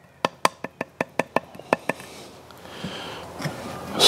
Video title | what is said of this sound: Second Hand Shotgun? Hot Tips | there's the issue you can actually hear that